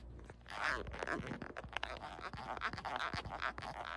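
Long nails scratch along the ribs of a beige ribbed silicone phone case on a phone and tap the case. A steady, quiet run of dry, rasping scrapes mixes with sharp little clicks, centered in the mid range with some bright edges.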